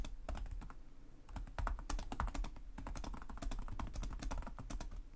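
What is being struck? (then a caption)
Plastic laptop keyboard. Fingertips with short nails type continuously on the plastic chiclet keyboard of a black laptop resting on a desk. Rapid key taps form a steady stream of short, bright clicks over a soft, low thumping body, with a brief lull near the middle before the typing picks up again.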